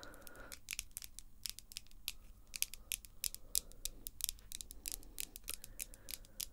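Long glossy pink acrylic nails, small and solid, are tapped and scratched nail-on-nail with both hands. Dozens of quick, sharp, bright clicks come in an uneven patter over faint scratchy rubbing and a low, steady background rumble. Each click dies away almost instantly.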